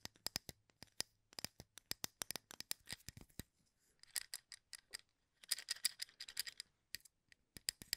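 A full plastic cup of wooden toothpicks, held in one hand, has fingernails raked across the wooden toothpick ends. It makes quiet, bright, clicky scratching: rapid dry ticks come in bursts and dense clusters, separated by short pauses. Each tick cuts off almost instantly with no ring.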